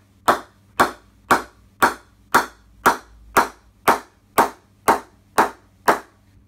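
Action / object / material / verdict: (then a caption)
knock / willow cricket bat knocked with a mallet / willow / responsive. A top-grade willow Gray-Nicolls Predator 3 Halestorm cricket bat is ping-tested by knocking its blade with a mallet. There are 12 sharp, evenly spaced knocks, about two per second, each a bright crack centred near 900 Hz that dies away quickly. The blade is tough, as expected for its grade, responds really well, and sounds incredibly good.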